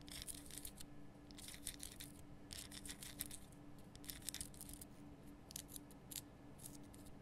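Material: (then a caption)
Rock salt. A large, lit pink Himalayan salt lamp, a solid rough rock-salt crystal held in both hands, is scratched and tapped with long painted nails. Bursts of dry, bright scraping and quick clicks come in clusters over a quiet low hum and a steady faint tone.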